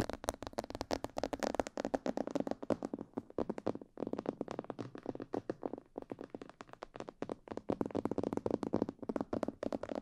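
Long purple-painted fingernails tap and scratch a hollow, life-size glossy black plastic mannequin head, a binaural microphone head, on both sides near the ears. The result is a quiet, dense run of quick, dry clicking ticks with almost no ring, centered in the mids with little bass, and a brief pause near the four-second mark.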